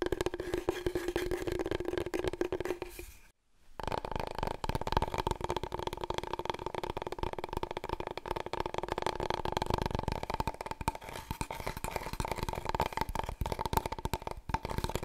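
Long painted nails rapidly tap and scratch the surface of a long, thin, hollow, empty cardboard paper roll tube held horizontally, then vertically. The dense, dry patter first rings with a low hollow tone, then breaks off in a brief silence. When it resumes, the hollow resonance is higher and brighter.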